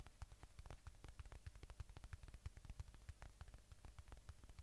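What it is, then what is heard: Polyurethane foam squishy toy. Fingertips and nails rapidly tap and scratch a palm-sized watermelon-slice squishy toy made of soft, solid polyurethane foam, with red flesh and a green rind, held right at the microphone. The quiet, dull, low thuds have almost no ring, and soft scratching sits between them.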